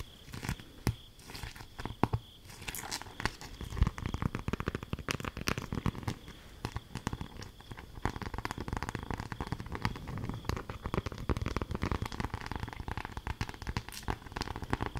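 A patterned beeswax-coated cloth food wrap, thin and stiff, is held in both hands and crumpled and crinkled with long nails. Dense, quiet crackling and crinkling with many rapid small snaps runs throughout, weighted toward low tones. A steady faint high tone runs beneath it.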